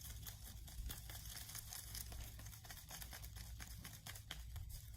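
Young leaves gathered from the ground are shaken, giving a continuous soft rustling and crinkling over a steady low hum. Their sound is less dry than that of old dry leaves.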